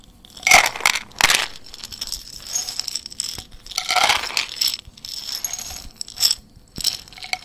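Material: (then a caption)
Glass. A small clear glass jar with a white lid, partly filled with dried green plant matter, is held in the hand and shaken and tilted so the contents rattle against the glass. Bright, crisp bursts of rattling and light clinking come and go with quieter scraping between them. There is almost no low end, and each sound dies away quickly.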